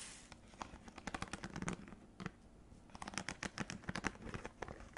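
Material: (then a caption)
Plastic. A small clear plastic clamshell box holding dark stacked cookies is held in the hand and tapped and scratched with long red acrylic nails. Quick, dry clicks and scratchy patters come in two bursts separated by a quieter pause, each tap short with almost no ring.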